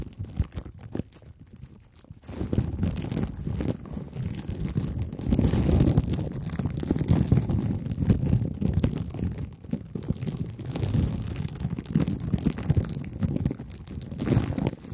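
Two wooden, toothpick-like sticks scratch across clear plastic cling film wrapped over a head, making a dense, continuous crinkling and scraping texture with a muffled, low-heavy tone. It starts faint for about two seconds, then rises to a steady, busier rustle that swells and eases through to the end.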